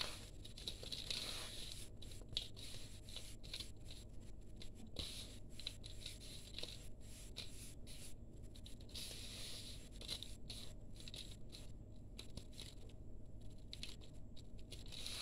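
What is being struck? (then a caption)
Sand-cement powder in a steel bowl. Bare hands scoop, rub and crumble fine, crumbly grey dry sand-cement powder mix in a steel bowl. The result is a quiet, steady gritty crackle: dense grainy patter and crinkling over a low, muffled rumble, with a faint bright hiss on top.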